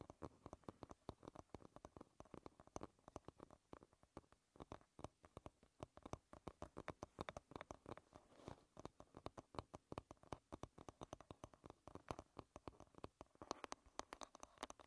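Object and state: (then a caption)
Wooden paddle hairbrush. Long red nail tips tap rapidly on the wooden back of a paddle hairbrush, making a quiet, steady stream of short, dry clicks. Each tap is crisp with a slight woody knock and dies away instantly without any ring.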